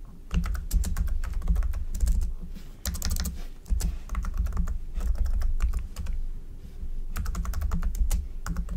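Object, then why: Plastic computer keyboard. Fingertip typing with both hands on a black plastic computer keyboard. It produces a steady stream of short, dry key clicks with bright tops over a deep, thumpy low end, coming in bursts with brief pauses.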